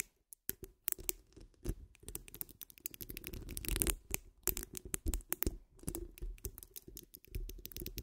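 Long almond-shaped nails scratch along the sides and top of a hollow metal mesh microphone grille. The result is dense, rapid scratching and clicking, with sharp, bright bursts over a boomy low rumble and a hollow mid-range ring. The sound is close and fairly quiet, with brief pauses between clusters of strokes.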